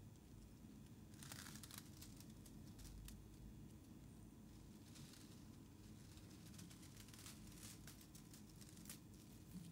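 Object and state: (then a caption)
Shredded paper. Fingertips with painted nails press into a loose mound of thin black shredded paper strips on a white surface, crinkling and rubbing them. Soft, bright papery rustles and crackles come in bursts over a quiet, steady low background rumble.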